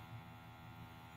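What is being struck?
Nothing is struck.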